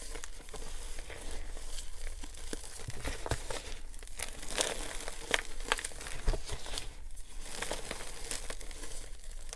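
Bare hands scoop loose pink gym chalk powder in a clear plastic tub, squeezing handfuls and letting them crumble and fall while the dry powder is crushed between the fingers. Soft, dry crinkling and crumbly crunches come in a steady stream of short, bright crackles over a constant low rumble.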